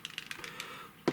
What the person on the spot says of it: You can hear that rattling round when it's mixing. It's probably the noisiest part about it.